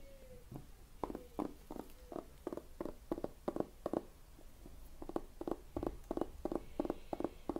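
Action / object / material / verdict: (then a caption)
tap / hardcover book with cardboard-and-paper cover / cardboard, paper / none. Fingertips tap on the cardboard-and-paper cover and spine of a medium yellow hardcover book, held upright and closed in both hands, before it is opened slightly at the end. A steady run of soft, dry, low taps with almost no ring is heard over faint whispering.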